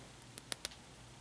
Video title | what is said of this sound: Subscription Spot - Geekfuel May 2015 Subscription Box OPENING! | Yes, it is metal. See, I'm tapping it.